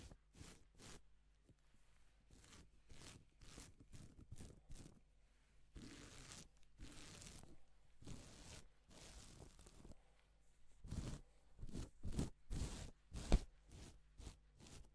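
A gloved hand sweeps its fingertips across a sheet of reversible plastic flip-sequin fabric. The result is a run of short, bright, crackling rasps and a few longer swishes as the sequins flip. The strokes grow louder and sharper toward the end, with a low steady hum underneath.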